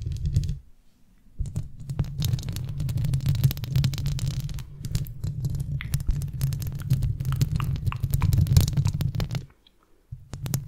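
Long red-painted nails tap and scratch around a large silver metal mesh microphone grille held close. The result is a dense, irregular stream of muffled low thumps with light crackly scraping on top. It pauses briefly near the start and again near the end.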